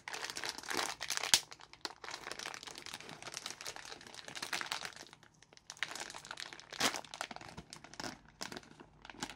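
Gloved hands tear further into a partly opened orange plastic-film packet of Asda Mini Jelly Babies and crinkle it. A dense run of bright, crackly crinkling and tearing noise carries almost no low end. Sharper, louder rips stand out near the start and again later in the clip.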